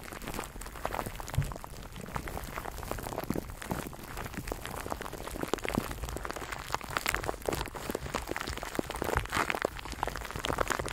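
A microphone wrapped in clear plastic cling film is held in both hands while fingers rub and crinkle the wrap. Dense, continuous crackling and crinkling fill the clip, with short sharp snaps layered over soft low rustling thumps. The texture stays close and steady throughout, with no ringing after each snap.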